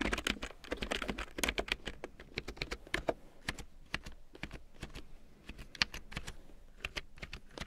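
A full-size large print keyboard with a black plastic frame and big yellow plastic keycaps, lying on faux fur, is typed on with long painted nails and fingertips. The result is a steady stream of quick, bright plastic clicks and taps that stop short, with a faint low hum underneath.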